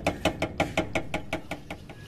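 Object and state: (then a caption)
Loose bumper knocking against its bracket. A car bumper resting on its metal bracket knocks as the underside near the bumper is shaken, producing 11 evenly spaced, short hollow knocks with a tone around 630 Hz and a brief bright edge. The knocks fade slightly toward the end. The bumper's loose contact with the bracket is the source of the abnormal knocking noise, which is fixed by bending the bracket.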